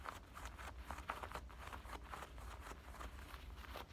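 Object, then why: Denim shorts pocket. Fingertips and nails scratch and rub the front pocket and waistband of worn, soft black denim high-waist shorts with a metal button fly. The result is a quiet, steady run of rapid, dry scratching rasps over a low, constant rumble.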